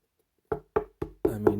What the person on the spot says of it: you can hear the knock on that it's cardboard but it's really thick